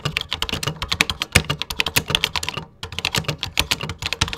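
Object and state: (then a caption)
Plastic computer keyboard. Fingertips type rapidly on the plastic keys of a 1980s computer keyboard, producing a dense stream of bright, sharp clicks with a light low thump beneath each press. The typing pauses briefly near the middle, then resumes at the same quick pace.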